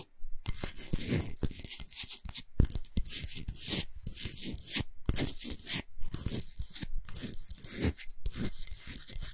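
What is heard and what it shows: Long pointed nails scratch fast and hard across the surface of a large, flat, solid pink Himalayan salt block. The result is dense, gritty rasping in bursts, bright and crackly on top with a low rumbling body, broken by brief silent pauses.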